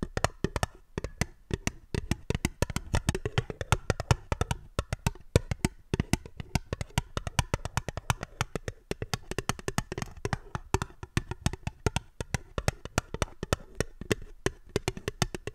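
A small, hollow, fluted and ribbed aluminium tin, held upside down and empty, is tapped rapidly with long fingernails. The result is a steady stream of short, dry, clicky taps with a low, hollow body around 100 Hz, a light bright edge, and almost no ring between strikes.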